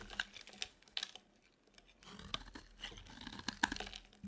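A utility knife blade scrapes a dry, solid white soap bar, peeling off curled shavings. Quiet, dry crackling and crisp, bright scratches come in short bursts with brief pauses between them, each sound ending almost instantly with no ring.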